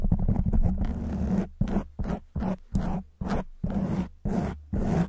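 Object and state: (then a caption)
Foam microphone windscreen being scratched. Long white nails scratch a black foam windscreen on a silver microphone, producing dense, muffled, low rasping strokes. A quick continuous flurry of scratching gives way to separate short scrapes, each with a soft attack and a fast fade into silence.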